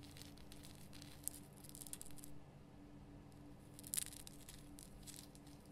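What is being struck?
Rock salt lamp.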